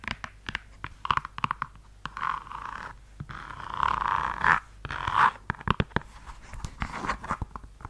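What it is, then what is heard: Suede high-heel pump. Long yellow acrylic nails tap and scratch a single hollow red suede stiletto pump held close to the mic, working over both the suede and the heel. Quick, sharp clicks come in bursts, broken in the middle by softer, breathy scratching and rubbing across the suede before the tapping picks up again.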